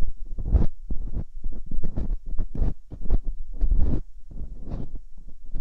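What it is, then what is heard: Silicone ear of binaural microphone. Metal dental picks scratch inside the canals of silicone ear molds on a binaural microphone. The result is a run of close, muffled scraping and rubbing bursts, heavy in low rumble with brief brighter scratchy edges, coming in an uneven rhythm.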